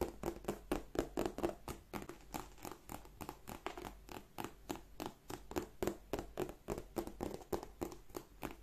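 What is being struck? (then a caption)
Embossed leather handbag. Long nails tap and scratch across the flap and front of a large, black, glossy croc-embossed leather bag that is hollow inside. About forty quick, dry taps come at an uneven, rapid pace, mixed with soft scratching. Each tap is short with a hollow, mid-low knock around 340 Hz.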